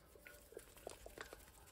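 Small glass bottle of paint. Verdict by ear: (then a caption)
Liquid. An old glass paint bottle, 10 to 20+ years old, is shaken, and the paint inside is heard glooping around in short, soft liquid sloshes around 660 Hz. The sound shows the paint is still liquid and usable rather than gone thick.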